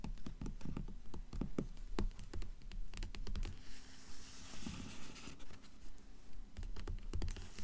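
Long nails tap and scratch the glossy paper dust jacket of a blue hardcover book lying flat. Quick, dull, low taps come in an uneven rhythm, with a stretch of bright, hissy scratching in the middle before the tapping resumes.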